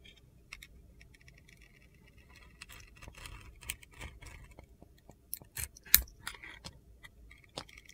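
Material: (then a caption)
Soap. A utility knife blade carves and scrapes white shavings off a solid blue, glitter-coated soap bar with gold stars, held in the palm. Quiet, bright, crisp scraping is punctuated by sharp little clicks and ticks that die away almost instantly, with a few louder snaps near the end.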